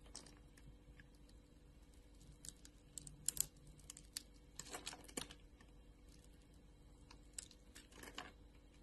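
A utility knife blade scrapes across a solid translucent orange glycerin soap bar with a diamond-scored surface, held by a hand with long nails, so small cubes break off. Quiet, bright, crisp scratches and sharp crackling ticks come in irregular bursts over a faint, steady low hum.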